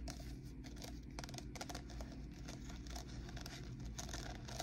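Long painted nails tap and scratch along the ridges of blue-and-white ribbed plastic party cups, hollow and empty and likely stacked, held close. Quick, light clicking taps blend with dry, crinkly scraping in a steady, quiet stream of short hollow plastic sounds.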